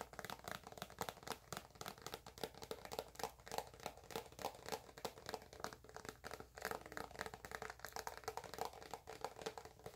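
Long acrylic nails tap and scratch a white soft plastic squeeze tube of eczema cream held in one hand. The result is a steady stream of quick, dry, crinkly taps and scrapes over ten seconds, quiet and mid-pitched with a little high hiss, each click dying away at once.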